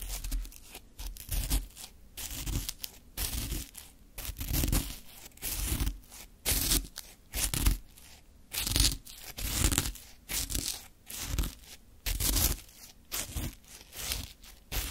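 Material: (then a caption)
Ice. A flat wooden stick scrapes and digs through a full small plastic cup of Sacre orange frozen shaved ice resting on a dark cloth. Irregular bursts of crunchy, bright crackling scrape come about once a second, each with a dull low thump beneath it, separated by short quiet gaps.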